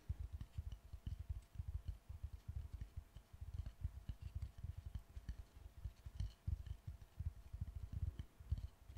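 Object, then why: Kinetic sand on a wooden board. A small mound of pink kinetic sand on a wooden board is pressed and squeezed with fingertips and palms. It makes a steady stream of soft, muffled, low squishes and dull thuds, with faint crackly grains on top.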